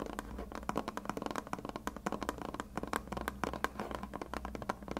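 A white plastic glue bottle with a blue cap, held sideways, is tapped rapidly with fingertips and short red nails. The hollow container gives a continuous run of quick, dry clicks with a hollow tone around 1 kHz. There is almost no ring after each tap, over a faint steady low hum.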